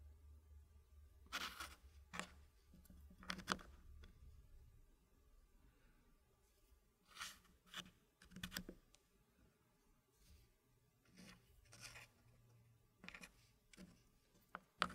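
Small solid dark-wood puzzle blocks are slid and set into a green-painted wooden frame with a light wooden base, as fingertips push and tap them into place. Quiet, short, dry clicks and knocks come in scattered clusters with faint sliding scrapes between them. A low hum sits underneath for the first few seconds.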